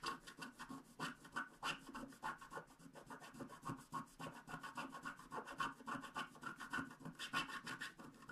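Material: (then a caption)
Coated paper. A wooden stylus scratches the coating of a thin black-coated paper scratch art card lying on a table, working in short strokes around a unicorn head. The result is a quiet, steady run of dry, raspy scratches, each stroke a brief gritty rub centered in the midrange with a light bright edge.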